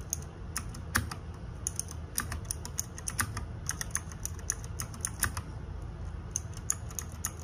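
Fingertips and nails type on a small RGB-backlit 60% mechanical keyboard with plastic keycaps. The result is a quick, irregular stream of short, bright clacks that stop almost instantly, over a steady low hum.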